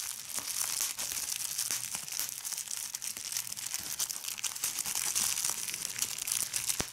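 A large sheet of clear plastic bubble wrap is squeezed and crumpled by fingertips with red nails. A steady, bright crinkling hiss carries through the whole clip, broken by scattered sharp pops as bubbles burst.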